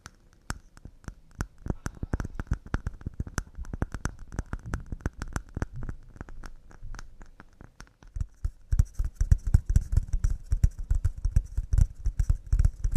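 Wooden cups made of pine are tapped quickly and delicately with a rapid stream of short, dry, hollow knocks. The knocks are mostly low and die away almost instantly. After about 8.5 seconds the tapping grows louder and denser, with a faint bright rattle above it.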